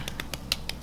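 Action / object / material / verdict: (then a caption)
tap / fried pork belly skin / pork skin / crispy. Six short, dry crackling taps on the bubbled skin of fried and cooled pork belly, handled or tapped to show how crisp it is. Each tap is a bright, brittle crunch with no ring, over a faint low hum. The skin sounds really crispy.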